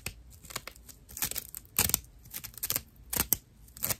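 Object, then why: Dried loofah fiber pad. Long nails scratch a flat rectangular pad of dried natural loofah fiber held on the palm. The result is dry, rough, crinkly scratching in short, irregular bursts, mostly bright and high with a little low thump under the louder strokes.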